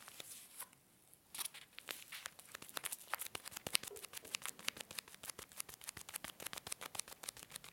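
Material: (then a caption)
Foil laminate. A tall blue and black foil-laminate coffee bag is held in both hands and crinkled and squeezed with the fingers. It makes bright, sharp crackles with almost no low end, pausing briefly near the start and then growing into a dense, rapid run of crisp crinkles.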